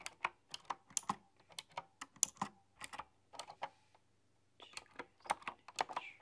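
Both hands with long painted nails type on a retro, typewriter-style mechanical keyboard with round chrome-rimmed keycaps. Roughly eighteen crisp, bright key clicks come in quick bursts, each stopping dead with no ring. The typing pauses briefly near the middle before resuming at a quiet level.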